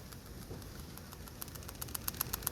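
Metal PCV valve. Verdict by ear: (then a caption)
Working. A PCV (positive crankcase ventilation) valve borrowed from a 2-litre Pinto engine is shaken, giving quick, light, bright rattling clicks over a low background rumble that grow sharper and more regular in the second half. The rattle shows the valve works and will do for the Escort engine.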